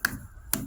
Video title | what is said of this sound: age regression abdl fun adventures with daddy 👨 😍 | it's Hollow you hear that noise yeah it's actually filled with air